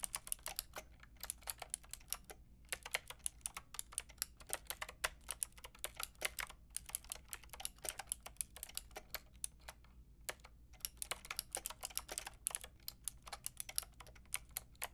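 Long nails and fingertips type on a pink and white plastic mechanical keyboard with round keycaps, resting on fairy lights. Rapid, bright, sharp clacks come in quick bursts with brief pauses, each one dying almost instantly over a faint low hum.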